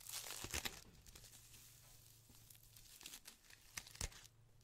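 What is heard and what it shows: A white polyethylene foam packaging sheet, rolled into a thick tube, is squeezed, twisted and rubbed with both hands. It gives off bright, dry crinkling and squeaky, tearing-like crackles in uneven bursts, with the sharpest snaps near the start and end. A faint low hum runs underneath.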